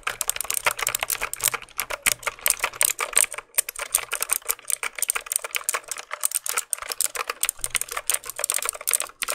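A black plastic mechanical keyboard is held in hand while its keys are pressed and tapped with fingertips. The result is a rapid, steady stream of sharp, bright plastic clicks and clacks that stop dead with almost no ring.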